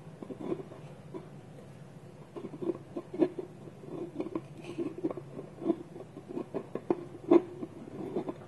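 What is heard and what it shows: Fingernails and fingertips tap a small, hollow, polished wooden bowl whose wooden lid is held against it by both hands on a table. The result is an irregular run of soft, quick, hollow knocks with a woody tone around 340 Hz. Each knock dies away almost instantly, with a few sharper, louder taps standing out among the quieter ones.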